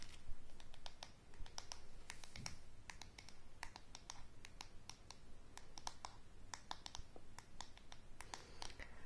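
Long fingernails tap and scratch the solid wooden handle and back of a paddle hairbrush held close. Quiet, rapid, dry clicks and brief scratches come in an irregular stream over a low, steady rumble, each tap dying away almost instantly.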